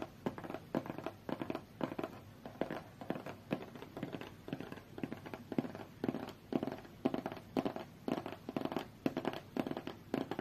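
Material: Cardboard.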